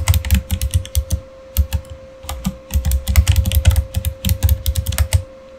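Both hands type with their fingertips on a backlit Razer mechanical keyboard with plastic keycaps. Quick bursts of deep, clacky keystrokes come with brief pauses, over a faint steady hum.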